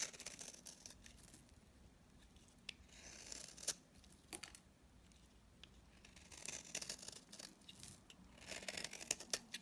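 A utility knife blade scrapes the surface of a dry, solid mint-green bar of soap held in the hand. It makes quiet, bright, crisp scratching and crackling strokes with short sharp clicks, swelling into denser bursts of scraping toward the end.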